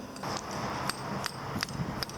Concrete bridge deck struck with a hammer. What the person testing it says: You can see that it sounds solid now.